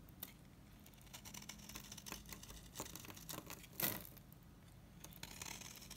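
A dry, solid, mint-green oval Savoy bar soap is shaved with a utility knife blade into powdery chips. Soft, dry scraping and crisp crumbly ticks sound over a faint low hum, with a louder scrape near the four-second mark.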